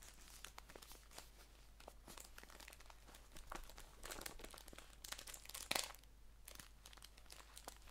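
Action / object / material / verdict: scrape / paper tea bag pouch / paper / none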